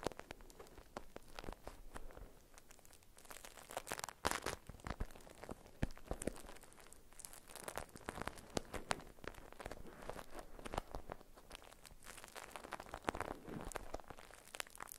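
A beeswax-coated cotton food wrap folded around a parcel is squeezed and scratched with long nails, giving a dense run of stiff, waxy crinkles and crunches. The sharp, short crackles come in uneven bursts across the clip, with louder clusters partway through and near the end.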